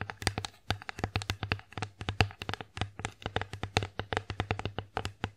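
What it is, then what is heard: Wooden plate tapped with fingernails. Long nails tap rapidly on the flat face of an empty wooden bear-shaped plate, producing a quick, uneven run of short, dry clicks. Each tap has a bright tip over a low woody knock and dies away almost at once.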